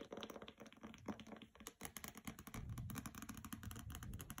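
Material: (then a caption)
Board and paper. Fingernails tap on the glossy jacket of a hardcover copy of "Graceling" lying on carpet, then along its sides. The result is a quick, dense run of light, dry clicks and ticks with a soft rustle underneath, growing fuller and lower after about halfway.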